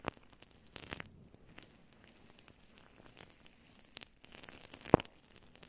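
Long blue nails on both hands scratch and squeeze a fluffy synthetic faux fur microphone windscreen close-up. The result is a quiet, crackly rustling with soft scratchy crunches and brief brighter flicks, plus one sharper pop near the end.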